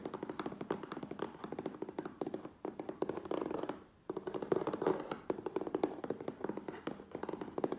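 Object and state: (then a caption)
Cardboard shipping box, tapped. Fingertips and nails tap rapidly on the sides and top edge of a closed, hollow, medium USPS Priority Mail corrugated cardboard box resting on a wooden table. The result is a dense stream of dry, hollow, mid-pitched taps with almost no ring, broken by a brief quieter pause before the fast tapping resumes.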